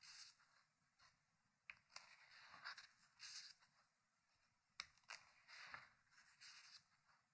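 Fingertips lift and turn the pages of an open, thick hardcover paper book resting on a wooden table. Quiet, bright paper rustles and rubs come in uneven bursts, broken by a few sharp, crisp flips, with almost no low end and no ring after each sound.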